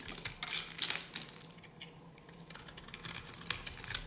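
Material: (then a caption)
Soap. A metal knife blade carves into a palm-sized, solid yellow bar of dry soap held in the hand, scraping off flakes. Repeated crisp, dry scratching and crackling strokes sound with bright, high tones and almost no low end. The bursts come in short clusters, with a quieter stretch in the middle.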